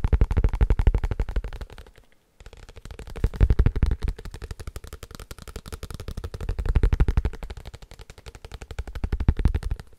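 A paper book is tapped rapidly and continuously with fingers, giving dense, low, dull thuds with almost no ring. The tapping swells and fades in waves and stops briefly around two seconds before resuming.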